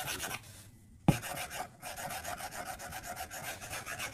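A white plastic stylus tip draws short strokes across the flat glass screen of an iPad tablet, making a quick, steady run of soft, bright scratching rubs. One sharp tap on the glass stands out about a second in, after a brief quiet pause, and then the rapid rhythmic scratching resumes.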